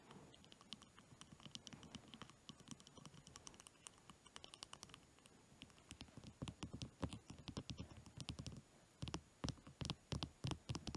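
A long, solid, orange-varnished wooden pencil held over a fluffy blanket is tapped and scratched along its shaft with fingertips and nails. The result is a soft, rapid patter of dry clicks and scratchy ticks with dull low thumps underneath. The taps grow louder and more distinct in the second half.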